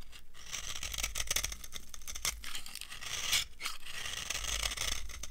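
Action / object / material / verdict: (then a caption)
scrape / bar of soap scraped with a metal knife / soap / none. A solid, dry yellow soap bar is scraped with a metal knife, shaving off crumbly flakes. The sound is a dense run of short, dry, crunchy scrapes with bright, high-pitched grit and a faint low rumble beneath. The strokes blur together rather than landing as separate hits.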